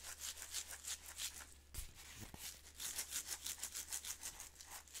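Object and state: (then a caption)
Glass jar of instant coffee granules being shaken. A glass Maxwell House instant coffee jar, about half full of coffee granules and closed with a blue plastic screw lid, is held in one hand and tilted and shaken so the granules move. Quiet, bright, gritty swishes repeat in a fairly steady rhythm of about three per second. The rhythm breaks briefly near the middle, where a couple of soft low thumps sound before the shaking resumes.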